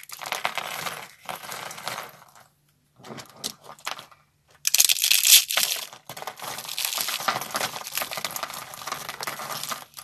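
Bare hands squeeze and crush curled strips of dry, brittle, solid purple-striped soap into flakes over a wooden surface, next to a purple soap bar. Dense, bright, crackling crunches come in bursts separated by brief silences, with the loudest, sharpest crunching about halfway through. The brittle shavings break down into small flakes.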